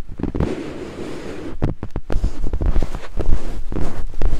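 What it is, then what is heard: Silicone microphone ear being scraped. Two thin wooden picks held in fingertips scrape over white silicone binaural microphone ears, making a deep, muffled rumbling scratch with almost nothing bright. The sound comes in irregular, quick bursts of thudding friction that build louder toward the end.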